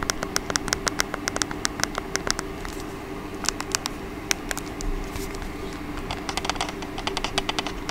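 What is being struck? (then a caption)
Plastic TV remote control. Long painted acrylic nails tap and scratch the face and rubber buttons of a small, hollow, black plastic TV streaming remote held in one hand close to the mic, possibly with a few button clicks. The result is a long run of sharp, bright, very short clicks and ticks, with a brief scratchy stretch in the middle, over a steady low hum.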